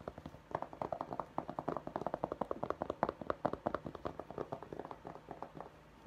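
Fingertips and nails scratch and tap the embroidered fabric crown of a navy structured fitted baseball cap with a St. Louis Blues logo, held up in both hands. Dozens of quick, soft, dull taps come in a steady irregular stream, each dying away almost instantly, with a faint scratchy rustle between them.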